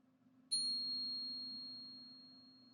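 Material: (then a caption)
Silver. A one-ounce silver bar balanced on a finger is tapped once in a ping test, giving a high, clear ping that hangs and slowly fades over about two seconds. The long ring marks it as genuine .999 silver.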